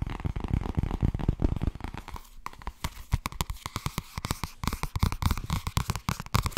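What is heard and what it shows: Fast tapping on the softcover book "Blijkbaar wordt het toch ergens als je er niets aan doet" produces a rapid run of dozens of dull, muffled taps. The taps are weighted toward low frequencies with very little ring, and brief quieter gaps break the steady rhythm.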